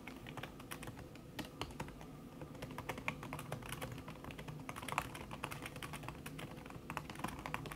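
Fast typing by fingertips with long red nails on a backlit laptop keyboard in a silver aluminum body, its keys covered by a thin red silicone skin. A rapid, dense stream of soft, muffled clicks runs throughout, each dying out almost at once over a low, steady background hum.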